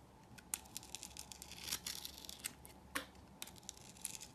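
A hand-held solid rectangular purple soap bar with a textured coated surface has its crust cut and scraped away with a utility knife blade. Quiet, bright scraping and crisp crumbly crackles run throughout, with sharp louder cuts standing out near the start, middle and just before three seconds.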